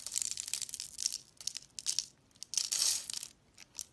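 A hand-sized pink bar of soap with embossed lettering, held in the hand, is scored and cut with a segmented utility knife blade in scratching strokes. The clip is made of dry, bright scraping and crunching bursts with almost nothing in the low end, broken by short pauses, and each stroke ends quickly with no ring.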